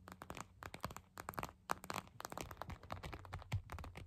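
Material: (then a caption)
Plastic, gel. Long acrylic nail tips tap quickly on a clear purple plastic eye mask filled with gel beads, lying flat. The result is a fast, uneven series of short, dry clicks and crinkly, crunchy taps with a faint low rumble underneath.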